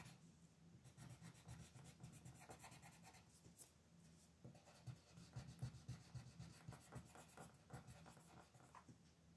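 A yellow wooden-bodied colored pencil is rubbed and scratched across a thin paper coloring sheet lying flat on a desk, shading in a design. Quiet, rapid, somewhat uneven scratchy strokes continue steadily throughout, with a soft low-heavy rub under a faint papery hiss.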